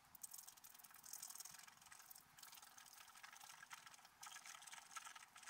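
A wooden stylus scratches the black coating off a scratch-art paper card held flat. It makes a continuous, bright, dry scraping with rapid rasping strokes and almost no low end. The level swells and dips with short pauses between passes.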